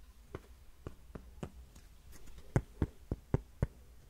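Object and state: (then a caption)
Cork coaster tapped with fingernails. Fingernails tap and scratch a thin, flat, solid heart-shaped cork coaster held close to the microphone. Nine short, dull, low-pitched taps die out almost instantly, with a soft scratching rustle before the last five, which are louder.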